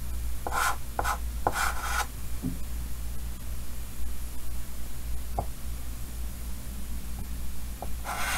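White chalk held in the fingers scratches across a large, solid painted chalkboard in a green wooden frame while drawing the outline of a head. Short, bright, raspy strokes come in a quick cluster early on, then scattered light ticks and taps follow before one more scratch at the end. A steady low hum runs underneath throughout.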